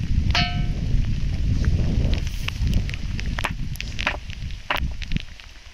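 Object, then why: Hilltop rock struck with a stone. A rock on a hilltop is struck several times and gives off sharp, metallic, bell-like clangs rather than a dull knock. The first strike rings with clear tonal overtones, and later strikes come as short bright clinks over a steady low rumble. This ringing sound is unusual for a rock and differs from that of ordinary stone.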